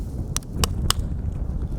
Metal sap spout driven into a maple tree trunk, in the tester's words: Once you hear that solid sound, that means that has seated itself and everything's in good shape